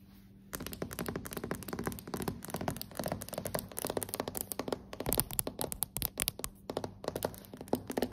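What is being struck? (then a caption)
Hardwood floorboards. Long acrylic nails and fingertips tap rapidly on solid, dark hardwood floorboards. The result is a dense run of short, dry clicks and soft thunks that begins after a brief quiet moment and grows slightly louder and sharper toward the end.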